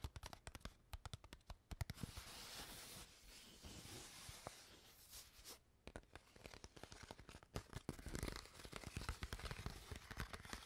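An empty, crumpled clear PET water bottle with its cap on is crinkled and scratched with long nails. Sharp, dry crackles and clicks come in quick bursts, then give way to a steady, bright scratching hiss in the middle. The crinkling crackles then return, short and dull-toned, with no ring after each snap.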